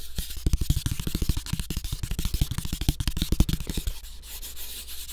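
A flat, thin brown cardboard sheet cut into the shape of a floppy disk is rubbed and scratched with fingertips and nails. A rapid run of short, dry scratching strokes sits over a steady low hum, then eases into softer, quieter rubbing near the end.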